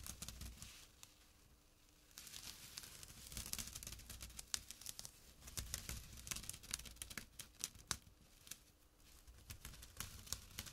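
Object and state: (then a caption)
Jute burlap pouch being scratched. Short fingernails and fingertips scratch a small, flat, empty jute burlap drawstring pouch lying on dark cloth. The result is dry, bright, crackly rasping that comes in uneven bursts of quick scratches, with a quieter pause near the start and another near the end.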